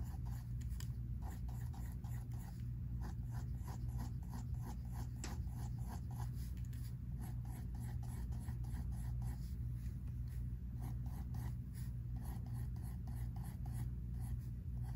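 A pink mechanical pencil scratches short drawing strokes on a spiral-bound sketchbook paper page resting on a table. Quiet, repeated scratchy strokes sit over a steady low hum throughout.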